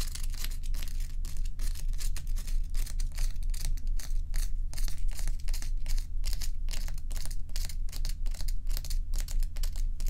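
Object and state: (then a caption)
Ice block scratched with fingernails. Long acrylic nail tips scratch along the edge of a large solid ice block resting on a dark towel. A quick, uneven run of short, bright, crackly scrapes repeats throughout over a steady low hum.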